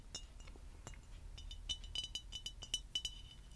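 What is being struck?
Clear glass bottle.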